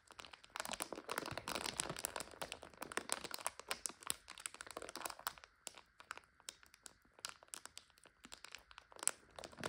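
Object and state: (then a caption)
Plastic bag of dry egg noodles. Both hands squeeze a full, clear plastic bag of dry egg noodles, crinkling the plastic and crunching the noodles inside. The result is dense, bright crackling that comes in busy bursts, then thins into sparser, sharper snaps toward the end.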